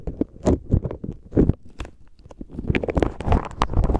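A clear plastic zip bag full of plastic faux pearl beads is pinched, squeezed and rubbed with the fingertips. The beads rattle and click against each other in dense, uneven bursts while the bag crinkles. The sound is mostly low and muffled, with occasional bright clicks.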